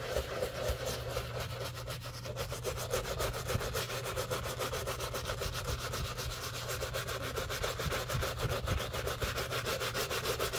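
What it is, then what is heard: Leather shoe being brushed. A black leather shoe, held in gloved hands, is scrubbed on its upper with soapy foam by a soft-bristle brush with a wooden handle. Steady, wet, rhythmic brushing strokes rasp and hiss, with a low hum underneath throughout.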